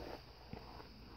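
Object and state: Nothing is struck.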